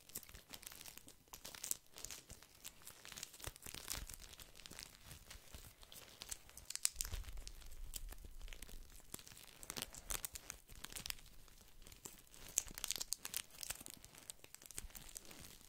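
A small soft pack of paper tissues wrapped in thin plastic film is crinkled and squeezed by the fingertips of one hand. The result is a quiet, continuous run of bright, crackly rustling with many tiny snaps. Occasional deeper, soft crunches sound when the pack is pressed harder.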